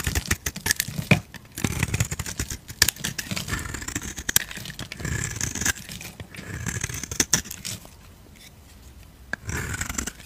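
A utility knife blade carves and scrapes white shavings off the face of a hand-held, solid, oval white bar of soap with a pink glitter rim. Dense bursts of crisp, bright scraping mix with a low rustle, with a quieter lull near the end before the scraping picks up again.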